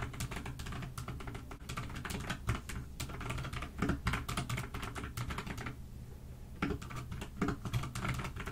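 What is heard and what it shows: Fast, continuous typing with fingertips and long nails on a pastel dust silver D84 mechanical keyboard with plastic keycaps, resting on a desk. Dense, clacky keystrokes carry a low, thocky body with a bright click on top. A brief pause near the six-second mark interrupts the steady stream of typing before it resumes.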